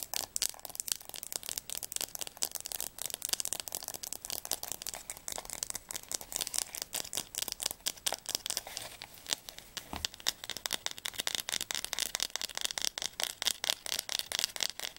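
Long nails tap rapidly on the glossy spine of a solid blue hardcover Diercke Weltatlas, which is held sideways close up and then upright. The result is a dense stream of crisp, dry clicks, bright and high with almost no low end, each dying away instantly.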